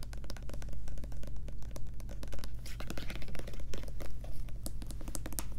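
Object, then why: Plastic lotion bottle. Long nails rapidly tap and scratch the sides and front of a white plastic Lubriderm lotion bottle as it is turned in the hands. Quick, dry clicks and scratchy brushes sit over a steady low hum.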